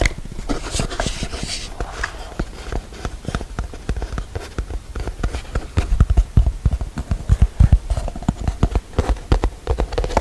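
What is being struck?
Paper-covered cardboard box.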